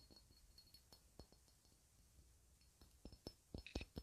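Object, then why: Cut glass ornament. A clear, faceted, hand-sized cut-glass ornament is held close and tapped with long red nails. About thirteen quick, short clicks each carry a faint bright glassy ring, starting soft and growing louder and denser toward the end.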